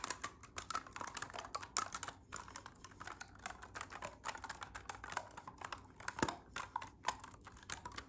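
Fingertips rapidly press and click the silver keys and ring keys of a hollow black clarinet. The result is a fast, irregular stream of short, dry clicks and taps with bright edges that die away almost instantly, much like rapid typing.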